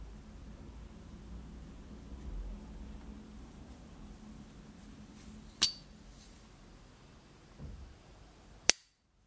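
A small rectangular S. T. Dupont Ligne 1 gas lighter from the 1970s, with a hollow gold-plated brass body and a hinged lid, is held in a white-gloved hand while the thumb flicks the lid open and snaps it shut. Two sharp, high metallic pings stand out against a quiet background, the second one louder and brighter.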